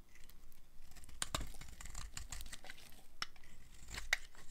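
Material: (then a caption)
Soap. A metal blade scrapes and carves chunks off the surface of a blue-and-white striped solid dry soap bar held in hand. Dense, dry scraping and crumbly crackling run throughout, broken by a few sharp, bright snaps as pieces break away.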